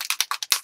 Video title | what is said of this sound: Beginner Mixed Media Background | you can hear there's a thing in there